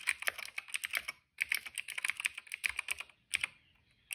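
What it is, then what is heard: Plastic mechanical keyboard. Fingertips type on a cream plastic retro mechanical keyboard with plastic keycaps and a hollow case. Quick bright, clacky keystrokes come in bursts, with short pauses near 1.3 and 3.2 seconds, then a final lone tap. Each key strike is sharp and dies almost at once, with very little low end.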